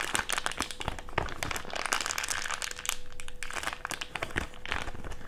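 An empty thick clear plastic bag is crumpled into a small wad and squeezed with the fingertips. A dense run of sharp, bright crinkles and crackles continues without pause, with a faint steady tone underneath.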